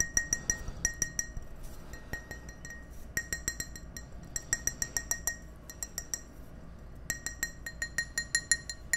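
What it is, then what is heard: Empty drinking glass. Fingertips and nails tap the side of an empty, hollow, hand-sized clear glass tumbler held up in the air, producing 36 quick, bright clinks in uneven clusters separated by short pauses. Each tap rings briefly around 1.9 kHz with high overtones and fades almost at once over a faint low background hum.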